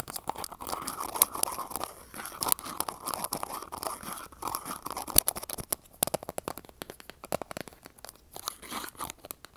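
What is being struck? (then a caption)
Small glass jar. Long acrylic nails tap and scratch the sides and lid area of a small glass jar filled with green contents, held in the hand close to an earbud mic. Rapid, sharp clicking taps mix with dense, crunchy scratching that has a bright edge and almost no low end. The taps cut off instantly with no ringing.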